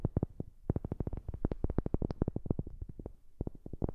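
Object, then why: Wooden object. A wooden object is tapped rapidly with about thirty quick, dry knocks, close up on a new microphone. Each tap is short and dull with a deep, low-heavy body and almost no ring. The taps come in steady bursts with a brief pause near the end.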